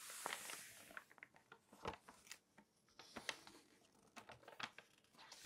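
Long nails scratch and rub across the surface of an open glossy paper magazine lying flat, making soft, bright, papery scrapes and short crisp ticks. A page is turned with a crinkly rustle. The sound is quiet and close, with little low end.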